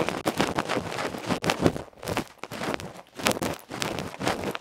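A small hollow aluminium electret microphone capsule with a black felt face, held in fingertips, is scratched and scraped by the tip of a bamboo ear pick. Rapid, harsh broadband scraping bursts come in quick irregular strokes with short gaps, loud and close with bright, crackly texture.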